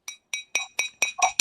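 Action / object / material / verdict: tap / glass cup / glass / real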